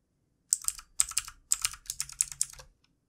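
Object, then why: Plastic computer keyboard. Fingertips of both hands type on the keys of a backlit plastic computer keyboard, producing quick bursts of bright, crisp plastic clicks in irregular clusters. Each tap is short and dry with almost no ring, and the typing stops cleanly after under three seconds.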